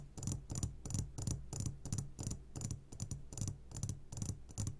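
A medium glass jar, turned upside down and full of sugared gummy candies, is tapped on its sides with short fingertips of both hands. About 17 quick taps come in an uneven rhythm. Each gives a bright click over a soft, low, muted thump, which fades almost at once.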